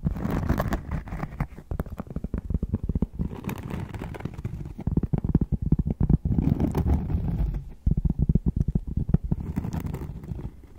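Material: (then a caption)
Cork. Cork is tapped and scratched up close, making a quick, uneven run of dull, low taps mixed with soft scratchy rustling. The sounds are muffled and dry with almost no ring, coming in dense bursts separated by brief pauses.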